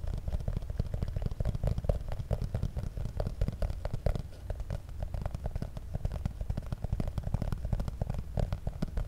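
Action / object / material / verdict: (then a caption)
tap / small printed cardboard box / cardboard / none. A small, hollow, black printed cardboard cable box held directly over the microphone is tapped and scratched with fingernails, possibly with a crinkly plastic-wrap sound. The result is a steady, rapid stream of short, dull, boomy taps with a deep low-end thud and soft crackling scratches in between.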